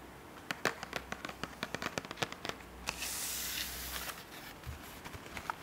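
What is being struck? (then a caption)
Cardboard product box. A long, hollow, closed white cardboard product box is held in both hands while long painted nails and fingertips tap and scratch its sides. About 19 sharp, dry taps ring out briefly with a bright crackle. In the middle comes a steadier hissing scrape, and then more scattered taps follow.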